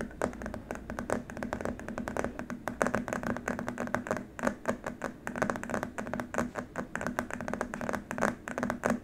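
Fingertips of both hands tap rapidly and continuously on a long, flat, white rigid plastic keyboard wrist rest, with some scratching mixed in. The taps are dry, short clicks with a hollow mid-range knock, over a faint, steady low hum.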